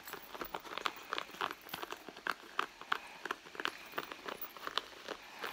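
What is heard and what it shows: Long nails scratch the leather near the seams of a red leather handbag lying flat. The result is a quiet, rapid, uneven run of short, dry scratching ticks, centred in the midrange with bright edges and no low end.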